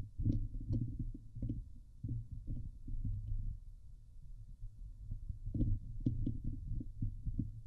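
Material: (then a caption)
Metal mesh. Long nails on both hands scratch across the hollow woven metal mesh dome grille of a Blue Yeti microphone. The result is a dense run of deep, muffled, boomy scrapes and thumps, almost all low rumble, with a few faint bright ticks on the sharper strokes. Each burst dies away quickly, in steady waves that swell and ease off.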